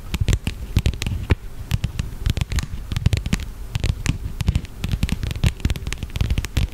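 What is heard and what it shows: Long fingernails tap and scratch along the surface and edges of a flat black leather wallet or case held close to the microphone. The result is a dense, uneven run of short, dull taps with a heavy low thump, broken by crisp clicks and a soft scratchy rustle that stops almost at once after each touch.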